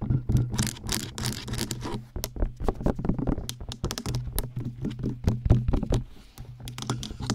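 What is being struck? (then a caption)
Silicone ear pieces of a binaural microphone. Long painted acrylic nails tap and scratch quickly on the hollow, ear-sized white soft silicone ears on both sides of a black-bodied 3Dio binaural microphone, sometimes brushing the mic body. The result is a rapid, dense run of muffled, thumpy taps with scratchy bursts over a steady low hum.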